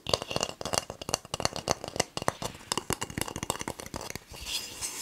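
A whole, palm-sized, hard-shelled brown coconut with a barcode sticker is held in both hands close to the microphone while fingertips and nails rub and scratch its fibrous shell. A rapid, dense run of short, dry, bright rasping scratches follows, with little low end. It ends in a softer, continuous hissy rub.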